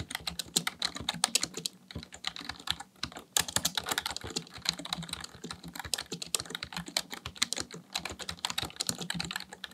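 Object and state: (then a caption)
Plastic computer keyboard being typed on. Fingertips type rapidly on a black plastic full-size computer keyboard resting on a desk. A steady stream of bright, dry clicks is heard, with each keystroke dying away almost instantly and brief pauses near the two- and three-second marks.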